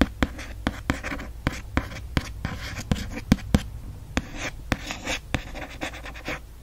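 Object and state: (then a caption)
Hardcover book cover, scratched and tapped. A fingertip and nail trace and scratch across the lettering on a hardcover book's printed, foil-stamped cover. Soft, dry scraping is broken by sharp, quick taps and clicks that die away almost at once, over a low rumbling background.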